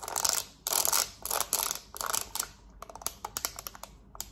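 Long nails rapidly tap the rubber buttons of a black plastic TV remote held in one hand. The first half brings several bright, rasping bursts of about half a second each, followed by a quick, uneven run of sharp, dry clicks. The sound is high and light with almost no low end, and each tap dies away at once.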